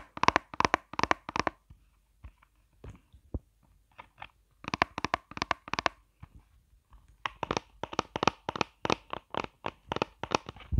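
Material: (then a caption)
Plastic. Long nails rapidly tap and scratch the raised squares of a flat, hollow, hand-sized pink plastic eyeshadow palette shaped like a chocolate bar, held in the hand. Quick bursts of crisp, bright, clicky taps come in clusters, separated by sparse, quieter scratches and soft ticks. Each tap is dry with almost no ring.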